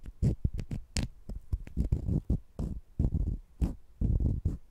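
Two small, solid, sugar-coated jelly fruit-slice candies held in the fingertips are scratched against each other. A series of short, muffled, scraping and rubbing bursts is heard, deep and bass-heavy with almost no high end, each fading quickly.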